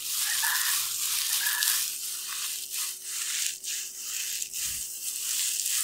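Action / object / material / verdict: shake / metallic plastic foil tinsel pom-pom / plastic foil / none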